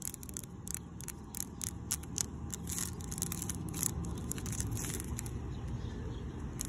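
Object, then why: Coated steel mesh bench. Long decorated pink nails scratch and tap across a black coated steel expanded-metal picnic bench with diamond-shaped openings. Quick, irregular bright clicks and scratchy rasps sound over a steady low rumble that runs throughout.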